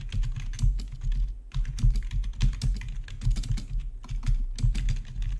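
Fingertips type steadily on a full-size black plastic RGB backlit membrane gaming keyboard with a hollow body. The taps form a continuous run of soft, dull clacks with a deep low thump and little ring, pausing briefly around one and a half seconds and again near four seconds.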